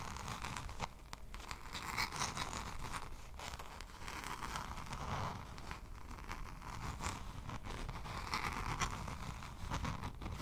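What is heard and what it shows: Long pink nails scratch and tap a small spiral-bound notebook with a lime green cardboard cover held upright. The result is a steady, dense run of dry, papery scratching and crinkly rustling with quick taps mixed in, centered in the midrange around 1 kHz with some brighter edges.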